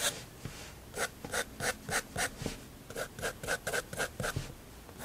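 A fineliner pen nib is drawn in quick hatching strokes across a large white spiral-bound sketchbook page lying flat on a wooden table, scratching and rubbing the paper. The result is a fast, somewhat uneven run of short, bright, raspy scratches with a brief pause partway through, over a quiet background.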